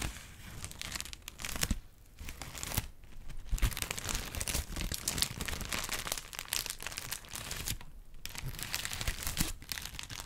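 A thin white paper sheet held in the hands is crinkled and handled with the fingertips, giving dense crackling and tearing-like rustles with a few brief quieter pauses. The sound is broadband, with bright crisp crackle over a low rumble from the handling.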